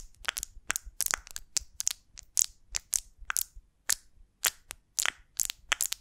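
A large, elongated golden beeswax honeycomb with solid wax cells, built around a small wooden twig, is held in both hands and scratched and tapped with long lilac acrylic nails. About twenty short, crisp, bright crackling scratches and taps come in quick irregular bursts, each dying away almost instantly, with almost no low end.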